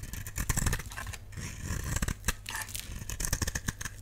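A utility knife blade scrapes and shaves the face of a solid, dry purple soap bar held in the palm. A steady run of short, dry, crackly scraping strokes with bright edges rides over a low hum.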